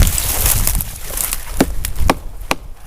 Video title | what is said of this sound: SOLO WINTER SNOW CAMP WITH MY DOG - BUSHCRAFT, BIRCH PIPE, GRILLED CHICKEN - THE TIPI DIARIES Ep13 | as you can hear, it's not rotten yet. It's good for burning